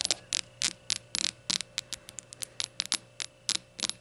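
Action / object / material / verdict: tap / small glazed ceramic shot glass / glazed ceramic / none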